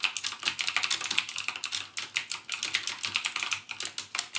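Fingertips type rapidly on the clicky Cherry MX Blue switch keys of a backlit plastic mechanical gaming keyboard. A steady stream of sharp, bright clicks with very short decay keeps going throughout, with almost no low-end thump.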